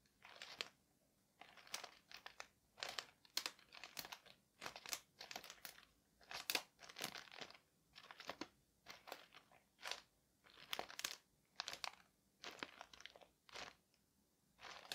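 An open palm and fingertips rub and press the surface of a flat package wrapped in thin white paper lying on a table, making it crinkle. Quiet, bright crinkling bursts repeat at a steady pace with short silences between them.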